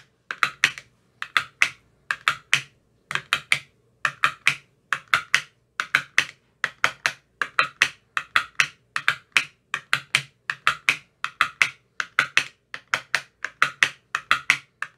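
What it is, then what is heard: Plastic ice cube tray. An empty, translucent frosted plastic ice cube tray with 15 hollow compartments is tapped inside its cells with a thin metal rod that has a white rounded tip. The taps are quick, dry and bright, with a hollow plastic click centered around 1.9 kHz. They come in rapid bursts of two to four with short pauses between, and each one dies away almost instantly.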